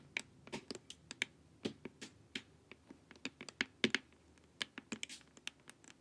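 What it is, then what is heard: Plastic face mask tapped with nails. Long nails tap and scratch the sides of a glossy, hollow plastic LED face mask. About two dozen sharp, quiet clicks come one after another, bright and dry with almost no ring, mixed with light scratchy brushes.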